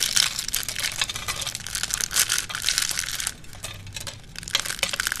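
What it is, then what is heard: Dry soap shavings being crushed. Curled and flat thin green dry soap shavings, held in cupped hands with grey nails, are pressed and crushed by the hands on a black surface. Dense, bright crunching and crinkling crackles run throughout, easing into a softer, quieter stretch in the latter half before a few sharp crunches return.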